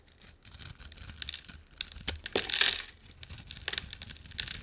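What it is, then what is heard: Soap bar being carved. A utility knife blade scrapes and carves the surface of a hand-sized, solid purple bar of soap with a black coating into shavings. The sound is a dry, bright, crackling scrape made of quick rasping bursts, with a louder, harsher stretch in the middle of the clip. The result is a steady stream of curled shavings coming off the bar.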